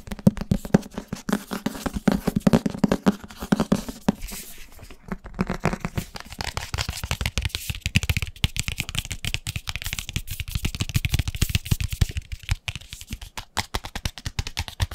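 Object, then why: Paperback book. Fingertips and nails rapidly tap and scratch the cover and page edges of a thick, solid-paper paperback book. The result is a fast, dense stream of dry, short taps with a low thumpy body, a faint hum near 190 Hz early on, and brief scratchy swipes mixed in.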